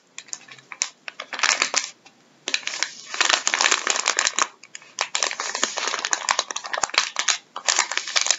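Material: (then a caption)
Plastic. Gloved fingertips scratch, press and crinkle a full, soft plastic packet of wet wipes resting on a wooden table. Bursts of bright, dry crinkling and scratching come and go with brief quiet gaps between them, dotted with sharp little ticks and almost no low end.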